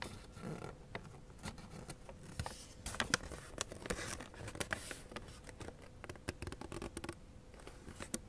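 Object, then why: Thin origami paper sheet. Thin blue origami paper, folded into a flap shape, is pressed, slid and creased by fingertips and nails. Soft, continuous paper rustling is broken by many quick, bright crinkles and sharp crease snaps.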